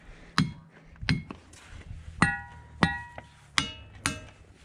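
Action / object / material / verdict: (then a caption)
strike / monzonite boulder struck with a hammer / monzonite / ringing. An igneous monzonite boulder that appears hinged out is struck six times with a hammer. Each strike gives a bright ding or clang with clear high overtones over a low knock, and the boulder rings very strongly.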